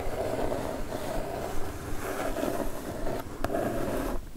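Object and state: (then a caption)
Cardboard mailer box. Long acrylic nails tap and scratch across a flat brown kraft cardboard mailer box with a pixel-art print, lying on a fur rug. A steady, soft, papery scraping with a low rumble underneath is broken by a few quick, crisp taps near the end.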